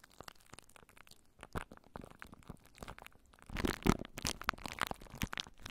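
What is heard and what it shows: Plastic cling wrap stretched over a microphone held in both hands is scratched and crunched by long nails. The result is a close series of crinkling, crackling scrapes with quick dry snaps. The sounds grow louder and denser in the second half.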